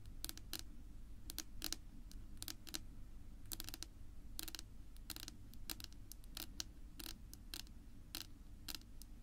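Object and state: Wooden tabletop tapped with fingernails.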